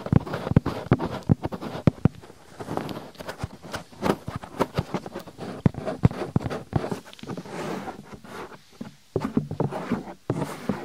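Fingertips with long nails quickly rub a white, soft, flexible silicone binaural microphone ear and fold its ear flap. The result is a close, dense stream of muffled rubbing and scratching with many short, sharp crackles and thumps, heavy in the low range with a little high hiss, continuing for the whole clip with a brief pause near the end.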